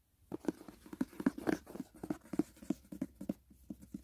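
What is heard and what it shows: Fingertips and nails tap quickly on the lid and edge of a closed, hollow white rigid cardboard gift box. The result is a rapid, uneven run of dull, hollow knocks that sit low and mid in pitch with no bright highs, each dying away almost at once.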